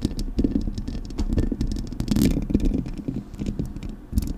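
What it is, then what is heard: Metal microphone grille scratched and tapped. Long acrylic nails scratch the metal mesh grille of a Blue Yeti microphone, then tap its body. The result is a dense, close, low-heavy stream of scraping and quick clicking taps with only brief bright flicks, staying fairly steady throughout.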